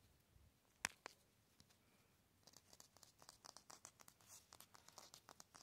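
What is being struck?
Concrete cinder block wall.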